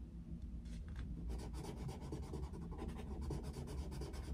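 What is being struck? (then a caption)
Wooden coloured pencil on a paper colouring book. A yellow wooden coloured pencil shades an open paper colouring book on a desk with fast rubbing and scratching strokes. After a quieter first second, the strokes become a steady, dense, papery rasp with faint bright streaks over a strong low rumble.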